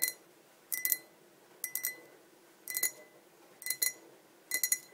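Long nails tap both sides of a tall, clear, hollow, empty glass pint tumbler in quick clusters of two or three clicks, about once a second. The taps are bright, glassy clinks with a steady high tone, and each dies away almost at once.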